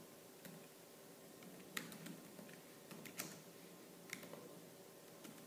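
Fingertips with purple-painted nails type fast on the black plastic keys of a laptop keyboard. Six sharp, bright clicks stand out over a quiet, steady patter of softer keystrokes, each dying away almost at once. Faint low hum sits underneath.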